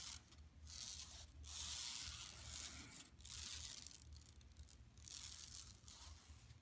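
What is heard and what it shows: Long nails on both hands scratch across a large, flat, empty yellow woven plastic mesh tote bag lying on carpet. The result is bright, hissy, raspy scratching that rises and falls in uneven swells and strokes, with a faint low rumble underneath.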